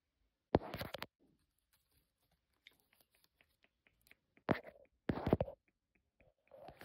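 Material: Esparto grass.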